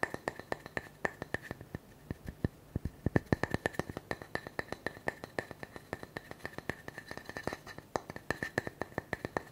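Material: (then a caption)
Wood. Fingertips and nails tap and scratch the smooth cut face of a solid round wooden tree slice with a bark edge, held in one hand. Many fast, dry, short clicks and taps come in quick irregular bursts, with a faint steady tone near 1.7 kHz underneath and a soft scratchy hiss between hits.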